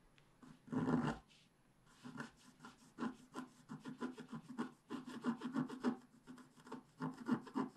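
A wooden stick scratches near the head on a black-coated scratch-art paper page held flat by hand. One louder rasping scrape comes first, then after a short pause a quick, irregular run of short dry scratching strokes with a low woody tone.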